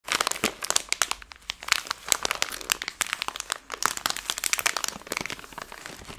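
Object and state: Plastic candy bag crinkling.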